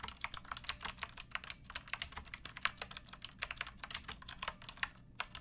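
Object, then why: Plastic mechanical keyboard keys. Fingertips with long nails type on a pink backlit mechanical keyboard with plastic keycaps resting on a wooden block. About 33 quick, bright, clacky keystrokes land in an uneven, steady rhythm, each dying away almost instantly. The sound is quiet and has little low end.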